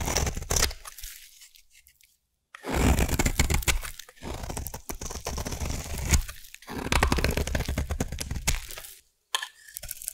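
A solid purple bar of soap is cut with a craft knife and then carved into shavings with a blade, giving dense bursts of crunchy, scraping cuts. The bursts come in several runs separated by short silences, and the sound carries a heavy low body with some bright crackle on top.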